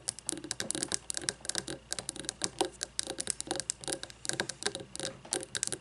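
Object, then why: Glass candle jar filled with wax. Long fingernails tap rapidly on both sides of a frosted glass candle jar filled with white wax, resting on a wooden table. The clip is a fast, irregular patter of short, crisp clicks with bright, glassy highs and almost no low end. Each tap dies away almost instantly.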